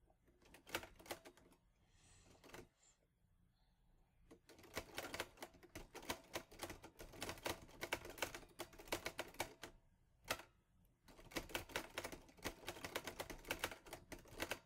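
Fingertips type on the keys of a teal metal Olivetti Lettera 22 portable typewriter, producing rapid bursts of sharp, bright mechanical clacks. The bursts are separated by brief pauses, one with a softer shuffling sound and another marked by a single isolated clack, and each strike decays almost instantly.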